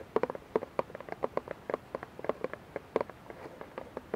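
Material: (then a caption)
Plastic. Fingernails tap the front and sides of a clear plastic dish soap bottle, partly filled with liquid and held in both hands. About two dozen quick, light taps in an uneven rhythm give short, hollow, dry clicks with a mid-range tone. Each tap dies away almost instantly.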